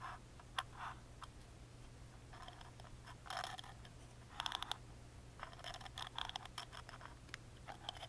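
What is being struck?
Thin plywood music box lid.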